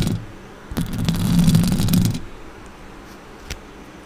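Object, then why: Metal mesh microphone grille. Long orange acrylic nails scratch the sides and top of a silver Blue Yeti microphone's metal mesh grille. A short scrape opens the clip, then a denser stretch of scratching lasts about a second and a half, heavy and rumbly in the lows with a bright, crackly rasp on top. It fades to a quiet hiss, broken by one faint tick near the end.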